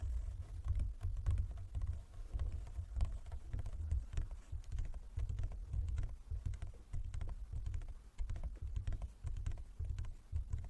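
Fingertips and nails of both hands tap on a large, closed, hollow wooden folding chess board. The result is a quick, irregular patter of soft, low, hollow knocks that die away almost at once.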